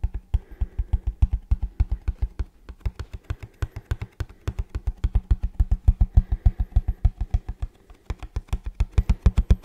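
A hollow printed kraft cardboard shoe box held upright in both hands is tapped quickly on its face with fingertips and nails. The result is a rapid, steady stream of short, dull, low thumps with bright clicky edges. The taps come in bursts with brief pauses.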